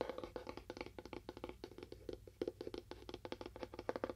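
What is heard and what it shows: Fast tapping on a cardboard box with a faux wood finish gives about 30 quick, dry taps over four seconds. Each tap is short and hollow, centred near 500 Hz with almost no ring. A faint low hum sits underneath.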